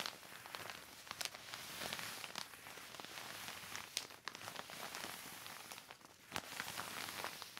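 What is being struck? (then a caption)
Heavy plastic sheet. A black heavy plastic sheet is wiped by hand with a yellow cloth across its surface, producing a steady, bright crinkling and rustling with scattered sharp crackles. The sound is quiet and high-heavy, with almost no low end and brief, quickly fading snaps.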